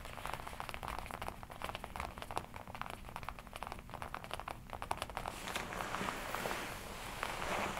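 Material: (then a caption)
Leather. Fingertips tap and rub the black leather chest and shoulder of a worn red-and-black smooth leather jacket. Quick, dry, soft taps mix with crinkly rubbing over a steady low rumble, and the last few seconds turn into denser, continuous crinkling and rustling.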